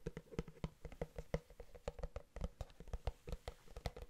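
A large, empty, translucent plastic food container, hollow and held in both hands, is tapped and scratched along its sides with fingertips and nails. A rapid, uneven series of short, dry taps sounds, each with a hollow, low body and a faint resonant tone that dies away almost instantly. Soft scratching fills the quiet gaps between the taps.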